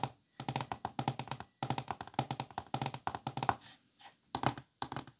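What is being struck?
Thin wooden folding chess board.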